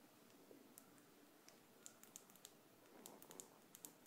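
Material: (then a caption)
Metal. A small, thin gold-tone metal hook earring is held between the fingers and tapped and scratched with long decorated acrylic nails. About a dozen quiet, sharp, high-pitched clicks and ticks ring out over a soft, steady scratching hiss, each click dying away almost instantly.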